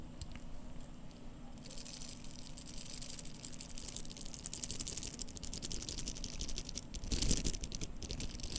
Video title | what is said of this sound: ASMR - Seiko SBDC053 Watch Sounds (Whispers, Tapping, Scratching, and Turning) | Now the bracelet is jingly, just a bit. However, it's a very dense sounding jingly sound, which is quite interesting.